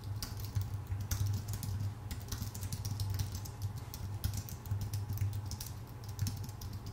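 Fingertips of both hands type steadily on a full-size white Apple Magic Keyboard with numpad, its thin aluminium base and plastic keycaps resting on a dark desk. Quick, light key clicks with bright, crisp tops patter in an uneven stream. A steady low hum runs underneath throughout.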